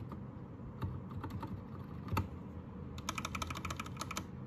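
Fast fingertip typing with both hands on a white 60% Anne Pro 2 mechanical keyboard with plastic keycaps. Bright, sharp key clacks come scattered at first, with one louder strike near the middle, then pick up into a rapid run of keystrokes toward the end over a steady low rumble.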